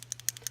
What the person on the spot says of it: you can hear that little mixing ball in there